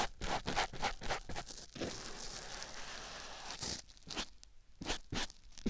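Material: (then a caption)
Foam. A white foam sponge block held in the fingers is rubbed and scratched against a silicone ear microphone. It makes close, crunchy, tearing rustles in quick irregular strokes, a steadier scratchy stretch in the middle, then more short scuffs. The sound is dry and heavy in the low end.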